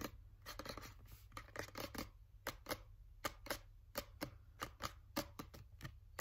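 Fingernails tap quickly on a green plastic sunscreen bottle, making a rapid, uneven run of sharp, hollow plastic clicks. Each click is bright and dies away almost instantly, over a faint low hum.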